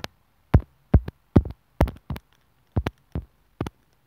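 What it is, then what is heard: Earphone inline mic tapped with a needle. A sewing needle tip taps and scratches at the mic hole of a small white plastic inline microphone and remote on an earphone cable, with a hollow housing, lying on a wooden table. Each touch comes through the mic as a short, deep, thudding boom centered low around 90 Hz, with a brief crackle on top. The bursts arrive in an uneven rhythm, some doubled, with near silence between them.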